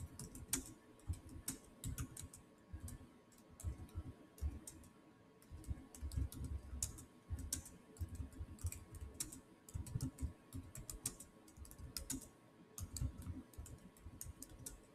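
Fingertips type fast on the solid keys of a black plastic chiclet keyboard on a silver Samsung laptop. The result is a steady stream of quick, soft taps with dull low thumps under them and short, bright clicks on top, each dying away almost at once. Brief pauses break up the bursts of typing.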